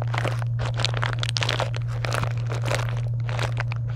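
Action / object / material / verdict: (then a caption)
scrape / foil and plastic wrapped candy bars / foil, plastic / none. Long nails scratch and rub the plastic and foil wrappers of a box of wrapped chocolate candy bars, making a steady run of crisp, bright crinkles and crunches. A constant low hum at about 125 Hz sits underneath the whole time.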